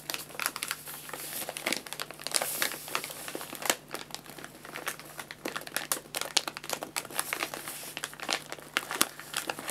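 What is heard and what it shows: An empty, medium-size, white-and-red printed paper guinea pig food bag, hollow and folded at the top, is crinkled, folded and rubbed with fingertips while it rests on a lap. Dense, bright crinkling and crackling fills the clip, with many sharp, quick crackles over a soft, steady low hum.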